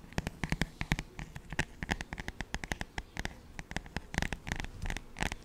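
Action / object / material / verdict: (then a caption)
tap / glossy paperback songbook cover / glossy paper / none. Both hands tap and scratch the glossy paper cover of a paperback children's songbook with their fingertips. The result is a quick, irregular run of short, dry taps with almost no ring. Soft scratchy rustling sits between the taps, with a low thump body and a brighter papery click on top.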